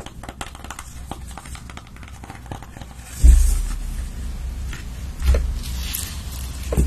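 A long patterned nail taps and scratches the edge and surface of a large, flat cardboard-bound eyeshadow palette with pressed pans, held upright in one hand. Soft, quick tapping and scratching give way to three louder, dull low thumps, each fading slowly under a steady low rumble.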